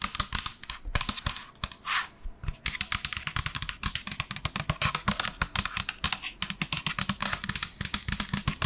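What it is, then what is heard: Plastic lotion pump bottle tapped with nails. A large, hollow pink and white plastic lotion bottle with a black pump is held in both hands and tapped with long nails in quick, typing-like bursts. Dense, crisp clicks with bright edges and a hollow low knock come through a faint background hiss.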